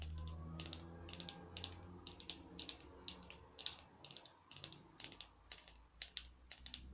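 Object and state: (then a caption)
Foam artificial pumpkin. A small orange craft pumpkin, hollow-looking painted foam or plastic with a twisted stem, is held in one hand and tapped with long acrylic nails. The taps come in quick, irregular clusters of bright, dry clicks with almost no ring, over a steady low hum.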